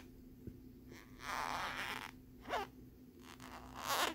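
Fingernails scratch quickly across the ridged lenticular surface of a small hard plastic phone case with a peace-sign print. The result is a few dry, bright, zipper-like rasping bursts between quiet gaps, with a faint steady low hum underneath.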